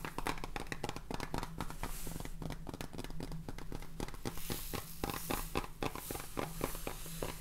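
A clear plastic salt jar full of salt, with a red plastic cap, is tapped quickly on its sides and bottom with fingernails close to the microphone. It makes a dense run of short, dry clicks and taps over a low, steady rumble, with faint grainy rustling from the salt.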